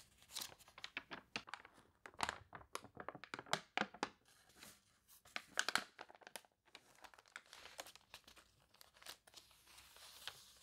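Long nails scratch across the warped pages of an open glossy paper toy catalog, and fingers turn a page, crinkling it. Quiet, dense bursts of crisp, bright crackling and scratching come in quick, short snaps with almost no low end.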